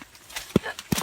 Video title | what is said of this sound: Le Jacques | le bruit ça résonne donc là on a un fruit qui est en plus il est mou